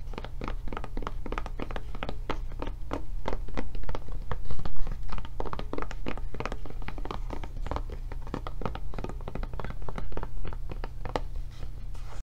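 Long nails tap and scratch the flap and back of a blue silicone rubber tablet case, making a quick, uneven run of short, dull thunks with light scratching between them. A steady low hum sits underneath throughout, and the taps swell slightly louder around the middle of the clip.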